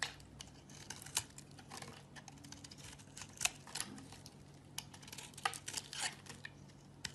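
A knife shaves and carves curls off a palm-sized, hand-held solid green oval bar of soap with a grey surface layer. Quiet, bright, crisp scraping and crinkling strokes come in quick irregular bursts, each dying away almost instantly over a faint steady low hum.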